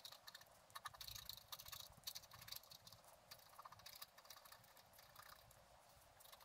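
A wooden stylus scratches away the black coating of a flat scratch art card lying on a table. Quiet, dry, bright scraping strokes follow one another with short pauses, each with a high, hissy edge and almost no low end.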